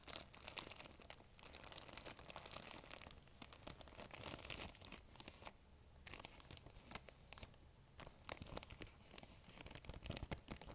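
A thin, empty, clear plastic bag is crinkled, stretched and scratched by long nails. The result is a quiet, dense stream of bright crackles and tearing-like rustles. A brief lull comes around the middle before the crinkling resumes.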